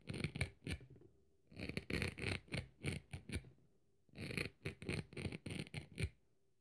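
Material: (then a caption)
Synthetic fibre. The blade of a metal craft knife scrapes and scratches across the rough, fibrous surface of the dry red scouring-pad side of a kitchen sponge held in the hand. Quick, uneven rasping strokes come in three bursts separated by short pauses. Each stroke has a dull low body and a bright, gritty hiss.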